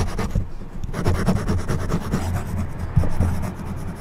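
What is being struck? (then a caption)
Plastic back scratcher dragged over a foam microphone windscreen. An orange plastic back scratcher with a forked tip is dragged over the top of a black foam windscreen on a silver condenser microphone. The result is a continuous, low, muffled scratching and rubbing, with a slightly louder stroke near the three-second mark.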